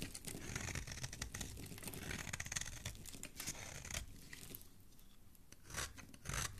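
A solid orange bar of soap held in the fingers is scraped and carved with a metal utility blade, while fine shavings and crumbs fall onto a pile below. Dense, crisp scraping and crunching with quick tearing-like strokes comes in bursts, easing to quieter, softer scrapes near the end before a few final sharp cuts.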